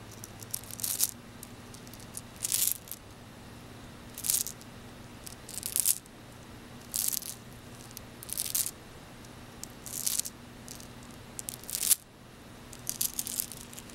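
A frosted white and blue glass bead bracelet, piled in an open palm, is shaken and rolled by fingertips so the beads rattle against each other. About nine short, bright clusters of clicking rattles are spaced by quiet gaps, over a faint steady low hum.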